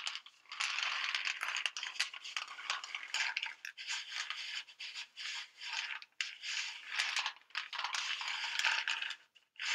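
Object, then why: Plastic pill bottle with pills. A white plastic vitamin bottle with an orange cap, full of pills, is shaken sideways and tapped with long nails. Dense, bright rattling of pills comes in bursts with short pauses, with sharp clicks of the nails on the plastic. The sound has no low end and settles into brief quiet gaps near the end.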